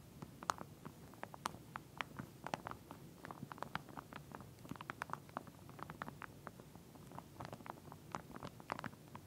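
Long nails scratch and tap along the teeth of a pink plastic comb lying flat inside a clear plastic sleeve. The result is a quiet, continuous run of quick, dry ticks and crinkly scratches, with short bright clicks centred around 1.2 kHz over a soft low rustle. Nothing rings on after each tap.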